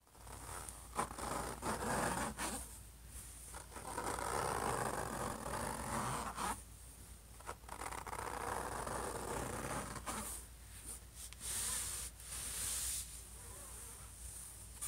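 Fingertips and short nails of both hands scratch and tap the silver, metallic-looking lid of a closed HP laptop lying flat, a thin hollow shell of unclear material (aluminum or plastic). Long, rough, hissing scrapes centred around 1 kHz come in bursts, with bright high edges. Brief pauses between them are broken by quick, dry taps.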